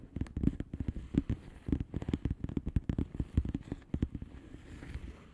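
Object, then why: Plastic bubble wrap envelope. Long fingernails of both hands tap rapidly on the air-filled bubbles of a flat blue plastic bubble wrap envelope. The result is a quick, uneven run of soft, dull, low taps with a faint plastic crinkle, each dying away almost instantly and gradually thinning out toward the end.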